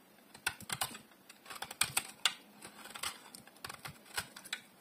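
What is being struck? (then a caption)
Bar of soap shaved with a metal blade. A solid oval bar of dry green soap, held in one hand, is shaved and carved with a metal utility blade. Each scrape makes a short, crisp, bright shaving crackle with almost no low end. The strokes come in a quick, uneven series and die away instantly.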